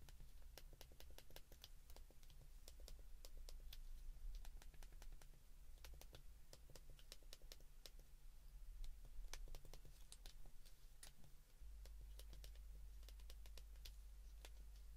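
A white plastic flip phone is held in both hands while thumbs repeatedly press its number keys. Quick, dry, bright clicks tap along in irregular runs over a steady low hum.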